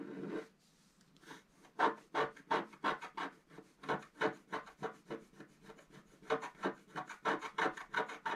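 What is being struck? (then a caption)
Black-coated scratch-art paper card scratched with a wooden stylus. A wooden stylus scratches near the top of the figure on a flat black-coated scratch-art card held down by the left hand. After a brief opening rub and a pause, it makes a quick, fairly steady run of short, dry, raspy strokes, each with a midrange scrape and little ring. The strokes sound quiet and close.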